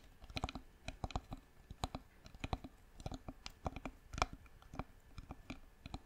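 Long nails tap the sides of a hollow, turned, light-colored wooden jar with a lid, held in both hands. A quick, irregular run of dry, clicky taps follows, each with a soft low thud and almost no ring. The taps come in small clusters at a quiet level.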